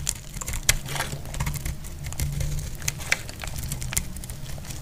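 A solid, dry red soap bar held in the hand is cut with a metal blade, producing a steady run of crisp, crumbly crackles and sharp bright clicks. A low, constant hum sits underneath throughout.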